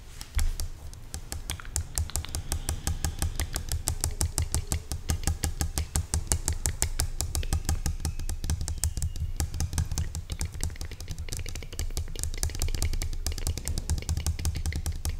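Long nails tap and scratch rapidly along the side of a medium-sized clear plastic pump spray bottle filled with orange liquid. The result is a steady stream of quick, crisp clicks over a dull low thump, with short bright scratchy edges between the taps.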